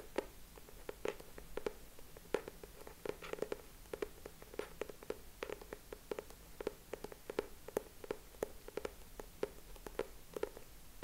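Fingertips and short nails tap and scratch the cover of a closed purple cardboard hardcover notebook held upright in both hands. Quiet, dry, short taps with almost no ring repeat steadily throughout, each with a hollow, low-mid tone and faint scratchy texture.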